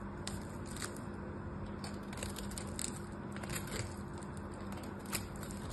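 A solid pink bar of soap is shaved and cut with a small black knife blade while held in both hands. Soft, dry crackling scrapes and crisp shaving sounds repeat over a steady low hum, with brief bright clicks standing out.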